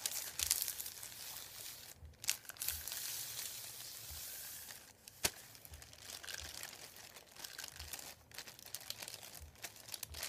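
Fingertips rub and press a thin, folded, white printed paper sheet lying on a wooden table. A steady, bright, crisp crinkling and rubbing texture fills the clip, broken by a few sharper crackles around two and five seconds, with almost no low end.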